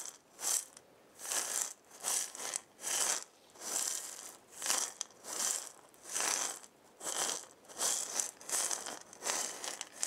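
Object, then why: Wooden maraca with filling. A hand with long painted nails shakes a hand-sized, round, hollow wooden maraca with a wooden handle, a burned zigzag pattern and filling inside. It makes a series of soft, bright, hissing rattles in short separate bursts at an uneven rhythm, with almost no low end and quiet gaps between shakes.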